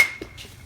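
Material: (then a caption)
Composite. A brand-new 2017 Rawlings Quatro bat with a composite barrel, fresh out of the wrapper, hits a baseball for the first time in a batting cage. The single crack is bright and sharp, with a thin high ring near 2.2 kHz that fades within a fraction of a second.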